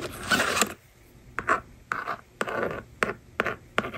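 A yellow plastic stylus scratches rows of numbers onto the honeycomb screen of a small plastic toy magnetic drawing board resting on a table. Short, dry scraping strokes come in quick bursts with brief quiet gaps between them. The sound is crisp, with most of its energy in the midrange.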